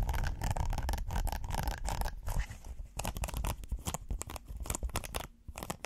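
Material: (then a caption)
Silicone. A flat, flexible red silicone pot holder with a ribbed texture is held in the hands and scratched with fingernails. It gives a rapid, uneven run of dry scratching and scraping strokes, dense and close together, with a few brief pauses near the end.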